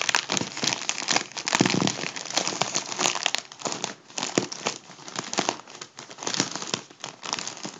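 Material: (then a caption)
Mylar foil. Both hands crumple and squeeze a hollow, partly deflated gold mylar foil balloon. The result is dense, bright crinkling and crackling that swells and eases in waves, with sharp snaps standing out throughout.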